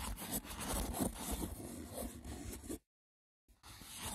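Fingertips with short nails scratch the braided top of a small, hollow, rectangular woven wicker box with a lid, making a dense, rough, crackly scrape with a full low body and a bright hiss. The scratching runs steadily for almost three seconds, cuts to silence, then resumes after a faint tick.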